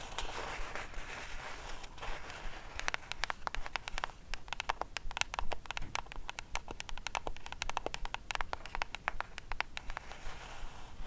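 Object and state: Cardboard gift box.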